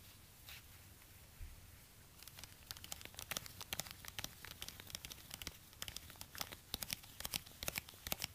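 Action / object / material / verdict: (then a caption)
scrape / suede high-heel ankle boot / suede / none. Gloved fingertips in orange rubber gloves scratch and tap a hollow, empty black suede high-heel ankle boot held in the hands, working over the suede and the edge of the sole. After about two quiet seconds of faint rustling, dozens of quick, dry, bright scratches and taps follow at an uneven pace, each dying away almost instantly.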